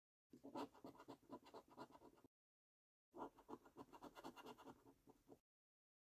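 A held coin scratches the latex coating off the circles on a thin paper lottery scratch card, making quick, raspy scrapes. They come in two bursts of rapid strokes separated by a short silence. The sound is quiet and close-up, with a gritty midrange texture and no low rumble.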